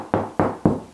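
Four knocks on a plasterboard ceiling, tapped away from the joist, give a hollow sound in the gap between joists. Each knock is dull and low-mid, centred around 200 Hz with almost nothing above 2 kHz, and dies away quickly.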